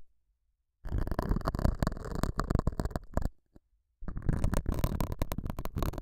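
A metal dental scaler hook scratches the surface of a small, solid, square beige felt pad mounted over a small lavalier mic. Two bursts of dense, rough scraping are heard, separated by a brief near-silent pause. The sound is dominated by a heavy, muffled low-end rumble.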